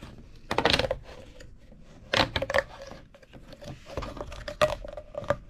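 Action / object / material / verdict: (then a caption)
scrape / corrugated plastic pop tube / plastic / none. A hollow purple corrugated plastic pop tube is compressed and rolled under the hands on a wooden table. Bursts of bright, crackly clicking pops come in clusters over a faint ongoing rustle, with a steady mid-pitched tone around 600 Hz humming through the ridges.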